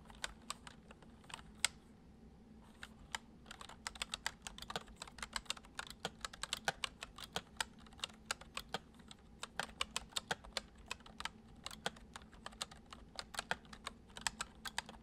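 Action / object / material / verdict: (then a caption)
tap / plastic computer keyboard / plastic / none. Fingertips of both hands type fast on a full-size white plastic computer keyboard with hollow keys, resting on a wooden desk. Dozens of quick, bright, dry clicks come in uneven bursts with brief pauses, each tap dying away almost at once. A faint steady low hum sits underneath.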